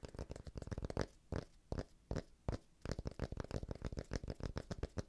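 A thick, solid, palm-sized round cork disc is held in the hand and tapped with a fingertip and nail on its face and edge. Quick, dull, low-heavy taps come in rapid bursts, thinning to a few scattered knocks in the middle before the fast tapping resumes. Each tap dies away almost instantly.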